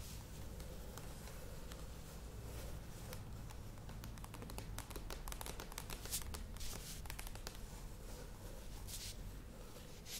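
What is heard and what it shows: Long acrylic nails tap and scratch the sides of a medium cylindrical plastic Kokos Natur yogurt tub with its lid on, likely hollow and unopened, standing on a table. Quiet, bright clicks and scratchy rasps patter over a steady low hum, growing denser and busier in the middle of the clip.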